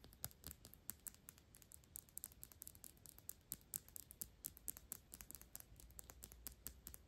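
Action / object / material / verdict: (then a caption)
tap / thick glass perfume bottle / glass / none. Long pink nails rapidly tap and scratch the sides of a square, thick glass Byredo perfume bottle that is partly full and tilted in hands. The result is a quick, irregular stream of bright, sharp clicks that stop almost instantly, with soft scratchy rustling between them over a faint low rumble.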